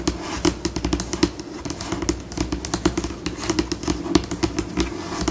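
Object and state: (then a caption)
Laminated tabletop tapped and scratched with nails. Long pink nails on both hands tap and scratch in place on a white, glossy, solid laminated tabletop. Quick, dry clicks come at a changing pace over a soft scratching wash. A steady low tone near 300 Hz runs underneath, and each tap dies away almost instantly.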